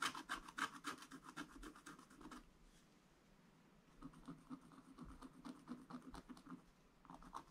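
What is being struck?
Black-coated scratch-art paper scratched with a wooden stylus.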